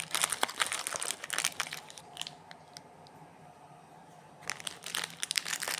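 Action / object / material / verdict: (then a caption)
scrape / chocolate bar in a plastic wrapper / plastic film / none. Fingertips rub, pinch and crinkle the glossy plastic wrapper and crimped end of a small, solid, sealed Kinder Bueno chocolate bar resting on a granite counter. Bright, dense crinkling fills the first two seconds, fades to a few faint ticks over a quiet middle stretch, then returns with crisp crackles near the end.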